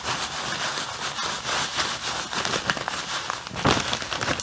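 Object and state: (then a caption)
Plastic bag of fake snow. A medium-size clear plastic bag full of white artificial snow granules is held close and squeezed and rubbed with the fingers. It makes a steady, dense, bright crinkling of plastic mixed with crunching snow, with a louder crunch near the end.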